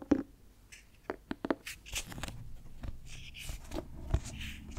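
Fingertips tap rapidly on the cloth cover of a closed, light grey clothbound Frankenstein hardcover with a blue heart pattern, held in both hands. The taps are soft, dull, and quick, with a low thud and a brief, faint scratch of fingers brushing the cloth. A few louder taps stand out against a steady, quiet patter.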